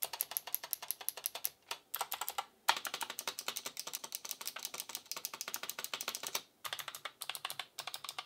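An Asus ROG Claymore II gaming keyboard with plastic keycaps and clicky RX Blue mechanical switches is tapped one key at a time with a single fingertip. It gives a rapid series of sharp, bright clicks with almost no low end, broken by brief pauses.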